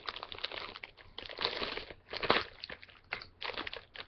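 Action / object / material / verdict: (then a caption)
scrape / small plastic-foil candy bag / plastic foil / none. Fingertips crinkle and pull at the top of a small, full, flexible plastic-foil M&M's candy bag held in both hands as it is opened. Bright, dry crinkling and crunching comes in uneven bursts, louder around the middle, with little low end and quick decay.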